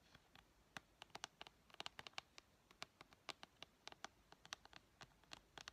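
Painted fingernails tap and scratch the top edge and front cover of a hollow blue plastic PS4 game case. About 30 quiet, sharp clicks land in an irregular patter, each bright and dry with almost no ring.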